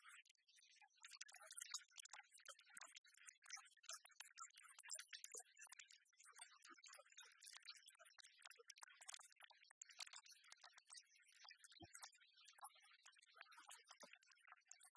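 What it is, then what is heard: Plastic spray bottle. A small clear plastic spray bottle with a white pump, partly filled with clear liquid, stands on a table and is then held and tapped and scratched with long fingernails. Dense, fast, bright clicks and scratchy ticks run throughout, with almost no low end and very short decay.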